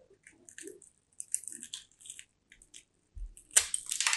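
A small solid bar of white soap with an embossed top is held in both hands while its edge is scraped and carved with a small striped blade. Dry flakes crunch off in short, bright, crisp bursts with quiet gaps between them. The scraping builds to a louder, denser stretch of crunching at the end.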